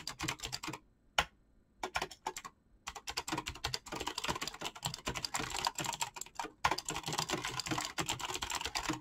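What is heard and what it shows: Fast fingertip typing on a black mechanical keyboard with clicky switches and PBT plastic keycaps. Rapid, crisp, bright clicks come in bursts with short pauses early on, then settle into a dense, steady run of keystrokes with very little ring.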